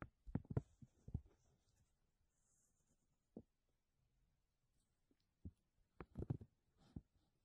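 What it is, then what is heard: Textured plastic vacuum bag crinkled. Fingertips of both hands squeeze and crinkle a thin, clear textured plastic vacuum bag sheet laid over a mesh dome. Quiet, dull crackling pops come in short clusters at the start, middle and end, separated by near-silent pauses, with faint high rustle between them.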